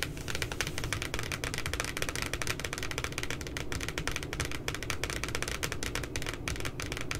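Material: Paper.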